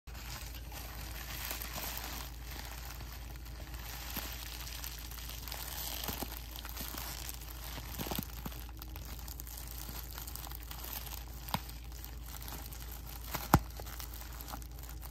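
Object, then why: Plastic bubble wrap sheet. A clear plastic bubble wrap sheet is held up in both hands while fingertips squeeze, crinkle and pop its air-filled bubbles. A constant soft crinkling rustle runs over a steady low hum, broken near the end by a couple of sharp, louder pops.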